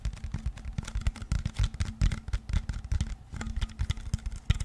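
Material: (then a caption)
Plastic. A clear plastic water bottle is held close to the mic in both hands while fingertips and nails tap and scratch its body and label. The result is a dense run of quick, dry taps and crinkly scratches with a heavy, thumpy low end and very short decay.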